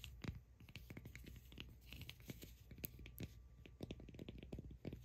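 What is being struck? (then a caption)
Cork ball. Long acrylic nails scratch and tap on a solid cork ball held close, making a dense run of quick, dry clicks and scratchy rasps over a low, soft rumble. The taps are sharp and brief with no ringing, some brightening into crisp, high ticks.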